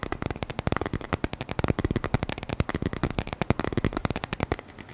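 A roll of black adhesive tape on a red and white patterned core with a hollow centre is held up and tapped quickly with the fingertips and nails. About 31 short, dry taps come in a rapid, uneven stream, each with a soft low thump and a crisp clicky edge that dies away almost at once.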